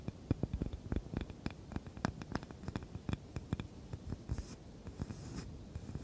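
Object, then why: Small wooden cutting board. Long nails scratch and tap a small, light, solid wooden cutting board with a handle. A quick series of dull, short, low-heavy taps and clicks mixes with scratching, and brief bright, hissy scrapes come in near the end.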